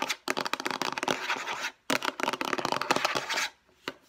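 Long nails rapidly tap and scratch the flat face of a hollow, light blue hard plastic storage case. Two dense bursts of bright, clicky scraping come with a short pause between them, then one last light tap.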